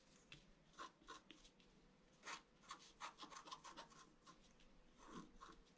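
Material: Coated paper.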